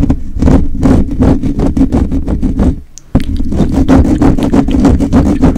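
The fingertips and short nails of both hands, held close, rapidly scratch a rounded, hollow metal wire-mesh microphone grille. The result is a dense run of loud, rough scratching strokes with a heavy low rumble and a hollow hum near 258 Hz. The sound fades to a near-silent pause just before the three-second mark, then the scratching abruptly resumes at full strength.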